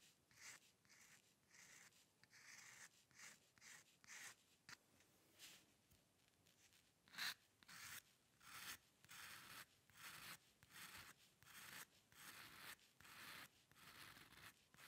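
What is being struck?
Metal dip pen nib on a paper sheet.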